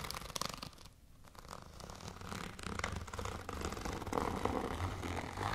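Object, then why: Clear plastic zip pouch. Long nails scratch and tap across a tall, transparent holographic plastic zipper pouch with lettering and contents inside. The result is a dense, rapid run of crinkly plastic scrapes and soft taps over a low rumble, dipping briefly near the start before building back up.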